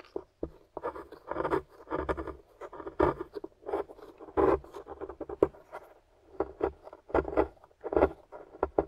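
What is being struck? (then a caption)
Plaster block scraped with a wooden stick. A pointed wooden stick digs and scratches into a solid gray plaster excavation block held in hand, breaking off flaky chunks. Short, dry scraping and crumbling bursts repeat in quick, uneven clusters, centered in the low mids around 400 Hz with very little ring or low end.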